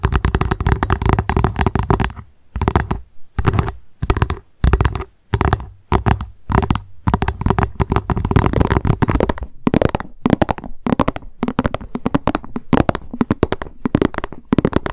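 Long nails tap rapidly on the base of a hollow plastic lunch box, then on the box as it is held up with its printed lid showing. Dense, quick, dry clicks run in bursts with short pauses, with a low hollow body and a mid-pitched knock.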